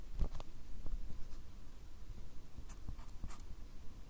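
A fine-tip pen makes short, scratching hatch strokes on a small white paper or card pad held steady close by. Quick, bright scratches come in brief clusters over a soft, steady low rumble, each stroke stopping dry with no ring.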